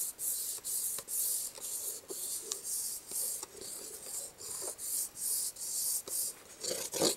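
Red-painted fingernails and fingertips rub and scratch across the flat top of a small, closed, black printed cardboard box of Kubros Halo packaging held in one hand. About fifteen separate strokes sound as bright, high-pitched rasping hisses with brief quiet gaps, each carrying a faint dull scuff lower down. The sound is dry and close, with no ringing after each stroke.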